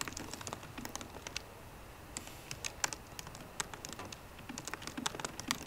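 Fingertips with short green nails type on the low-profile plastic keys of a 13-inch aluminum MacBook Pro. The result is a quiet, steady run of quick, crisp, bright clicks with almost no ring.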